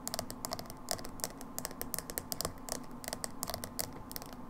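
A small, hollow, dark blue plastic Manic Panic hair dye tub with a black lid and paper label is tapped and scratched with long acrylic fingernails. About two dozen quick, dry clicking taps are heard, each with a bright, crisp edge and almost no ring. Soft scratching and a low hum sit underneath.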